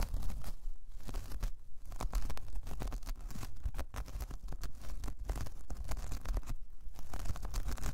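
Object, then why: Braided jute coaster. Long painted nails scratch across a large, flat, solid, round braided jute/straw coaster. The result is a continuous, dense scratching with dry crackles and tearing-like rasps over a low, muffled rumble. It holds steady at a moderate level throughout.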